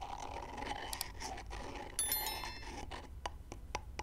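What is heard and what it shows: Two whole raw brown chicken eggs, held by fingertips and long nails, are knocked against each other while the nails tap and scratch the eggshells. Bright, dry clicks and light scratching sit over a steady low rumble, with a sharper ringing tap near the middle and crisp, separate clicks toward the end.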